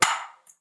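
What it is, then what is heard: Hollow floor tile. A plastic ball taps once on a hollow, debonded ceramic floor tile. It gives a hollow, ringing knock around 900 Hz that fades over about 0.4 seconds, followed by a faint high tick. The sound is clearly different from a solid tile, and the tile is then drilled for repair.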